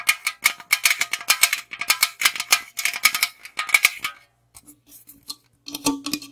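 A tall, hollow aluminum Monster energy drink can is tapped and scratched with long acrylic nails, first on its side and then on its top and rim. Quick, bright, rattly taps and scratches run densely for about four seconds, with a thin metallic ring under them. Then come quieter, sparser clicks and scrapes with a faint low tone near the end.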